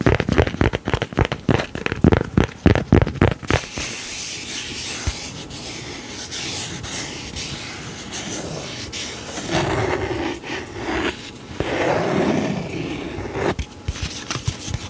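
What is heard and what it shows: A thin, glossy laminated paper card is held and rubbed with the fingertips. It opens with a quick, uneven run of sharp tapping scratches for about three seconds, then settles into a steady, airy rubbing hiss across the coated face, with a few louder swells of scraping near the end.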